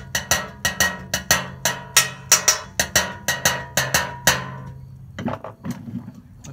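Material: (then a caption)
Sheet metal. A large, thin, flat metal baking sheet is held upright in one hand and struck repeatedly with a thin metal utensil held in the other. Seventeen sharp, bright metallic strikes ring out at an uneven drumlike pace, each with a short shimmering decay. A few softer, scattered taps follow at the end.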